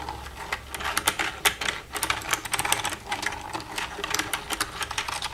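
Long red-painted nails tap and type with both hands across the keys of a black plastic desktop computer keyboard with a hollow casing. The result is a rapid, uneven stream of sharp, bright clicks and clacks that die away almost instantly, over a faint low background hum.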